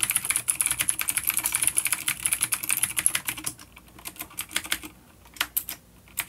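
Fingertips of both hands type on a full-size, dark plastic vintage mechanical keyboard with clicky blue switches and grey keycaps, resting on a wooden desk. A fast, dense run of sharp, bright clicks for the first few seconds gives way to slower, more spaced-out keystrokes. Each click is short and high-pitched with very little low end.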